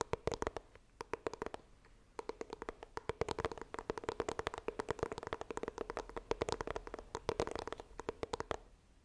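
Long dark nails scratch and tap rapidly on the front of a small white printed cardboard iPhone box held upright. Dozens of short, dry, crisp clicks come in quick bursts over a steady low hum near 450 Hz, with brief pauses between runs. The tapping stops just before the end.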